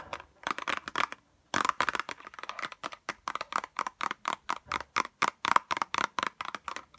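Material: Cardboard, plastic.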